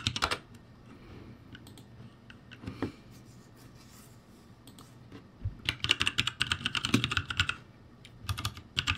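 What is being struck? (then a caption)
Mechanical keyboard with plastic keycaps. Fingertips press the plastic keycaps of a backlit ROCCAT G65 mechanical keyboard. Scattered bright clicks at first give way to a dense run of clacky keystrokes from about 5.5 to 7.7 seconds, then a short final burst. Each press is crisp and dies out almost at once.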